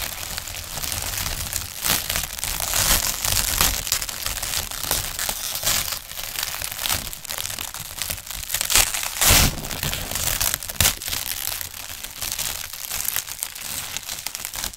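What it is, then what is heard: Plastic film sheet. A large, thin, clear plastic film sheet is held in both hands, then crumpled, crinkled and rubbed with the fingers, and finally stretched out and shaken. The result is a continuous stream of dense, bright crackling and rustling, with sharper crunchy peaks scattered throughout.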